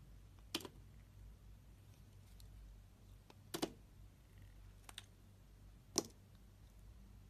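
A solid tan-brown laundry soap bar is held in the hand while a utility-knife blade slices its corner and shaves its surface. Five short, crisp, bright scraping clicks are heard, spaced irregularly, with quiet pauses between them.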